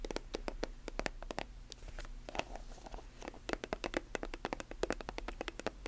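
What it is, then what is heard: Plastic lotion tube tapped with nails. Long nails tap and scratch a silver, metallic plastic squeeze lotion tube with a chrome cap, hollow and filled. Quick, sharp, bright clicks come in dense bursts, broken by a softer scratchy stretch near the middle. A faint, steady low hum runs underneath throughout.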